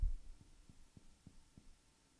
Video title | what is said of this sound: 05a.Physical Exam -Abdominal exam -part 1/2 | I can hear the air of the lung